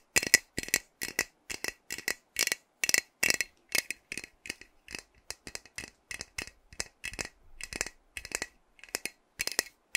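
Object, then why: Metal aerosol spray can. A pink-capped metal aerosol hair spray can, partly full, is held in one hand and shaken, with some nail tapping on it. Short, bright rattling bursts repeat steadily through the clip, each a quick cluster of metallic clicks with little low end.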